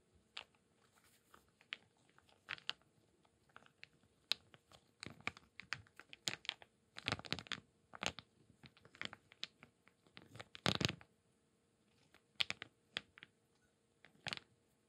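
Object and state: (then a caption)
Handful of wooden cubes and beads. Small solid wooden cubes and round wooden beads, cupped in both palms above a clay bowl, are rolled, rubbed and shaken together. The result is irregular bursts of dry, bright wooden clicks and clatter with no ring, broken by softer rubbing. The densest, loudest clusters come around the middle and just before the end.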